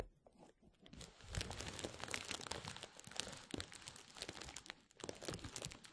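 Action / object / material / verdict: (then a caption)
scrape / plastic bubble wrap / plastic / none. Clear plastic bubble wrap rolled into a hollow tube over a microphone is rubbed and scratched along its length by fingertips. The result is a dense run of bright, crisp crinkles and small crackling pops. These swell and fade over six seconds with no pauses between them.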